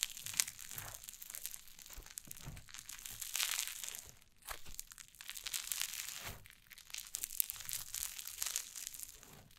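White cloud slime on a wooden table is crumbled, squeezed and pressed with fingers and long nails. The result is a steady, bright crackling and crinkling of many tiny pops and crunches, swelling in waves with a few sharper snaps.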